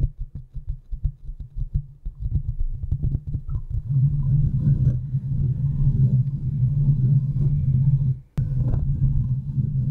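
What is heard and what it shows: Long nails tap and scratch the hollow domed steel mesh grille of a large desktop USB microphone while hands grip its sides. Quick separate taps build into a dense, continuous low rumbling scratch. A sharp click cuts through just past eight seconds before the scratching resumes.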